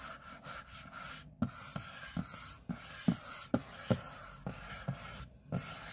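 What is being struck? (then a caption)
Aluminium laptop lid. Short fingernails scratch the back of an open MacBook's aluminium display lid, over the Apple logo. A soft, continuous rasping is broken by a series of sharper, low, dull scrape accents that stop quickly. A faint steady tone sits underneath.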